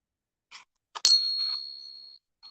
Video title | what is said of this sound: Foreign silver at melt plus a rarity. | you ping the Morgan dollar it has its own ring